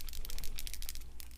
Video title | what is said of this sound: Cardmaking: You Crack Me Up, Fun Stampers Journey | shake it up pretty good and hear that little BB going in there until you get it all mixed up